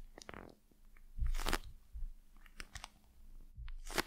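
Long acrylic nails tap and scratch a hand-sized gel-filled eye mask with a glossy plastic face and a black fabric rim, held close to the microphone. Crisp, crinkly taps and scratchy strokes alternate with dull, low thumps, and some bright bursts stand out. The result is an intimate mix of plasticky crackle and soft bumps.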